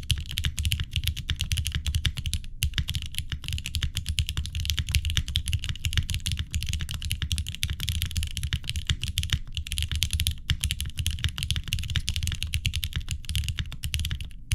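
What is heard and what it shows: Both hands type steadily with their fingertips on a tenkeyless mechanical keyboard with a green case, an aluminum plate, vintage Cherry MX Black switches and GMK cream plastic keycaps, resting on a wooden desk. It makes a continuous stream of dense, short clacking keystrokes with a deep low thock around 109 Hz and a bright clicky edge, each dying away quickly.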